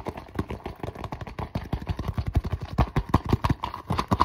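Fingertips and nails rapidly tap and scratch across the surface of a flat, mostly empty iridescent holographic faux leather zipper cosmetic pouch. The result is a fast, dense run of short, dull, low thumps with soft scratchy texture and very little brightness, each hit dying away almost instantly.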